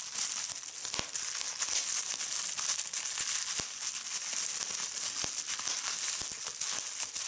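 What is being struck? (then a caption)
Plastic bubble wrap. Clear plastic bubble wrap is twisted and pinched by fingers with red nails, giving a steady bright crinkling hiss. Sharp pops from bursting bubbles punctuate it throughout. Nearly all the energy sits in the high range, with almost nothing low.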